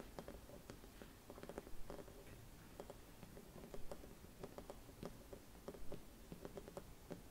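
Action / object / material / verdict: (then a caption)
tap / silvered glass Christmas bauble with metal cap / glass / none. Long red nails scratch and tap the surface of a hollow, silvered mercury glass Christmas bauble with a metal cap. Quiet, irregular clicky taps with brief glassy pings sit over a soft scratching rustle and a low background hum, with a few louder clusters of taps along the way.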